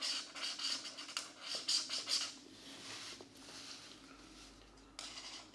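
A marker tip rubs and scratches across the thin paper of an open coloring book page resting on a desk mat while coloring a mandala. Quick, bright, dry scratching strokes come in an uneven rhythm for the first two seconds, then settle into a quieter, steady rubbing hiss, with one more brief bright burst near the end.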